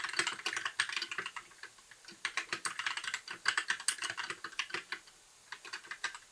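Fingertips of both hands type steadily on a compact white mechanical keyboard with plastic keycaps, a blue backlight and a hollow case. Quick, bright, clacky keystrokes with little low end run in fast bursts, broken by brief pauses before the tapping resumes.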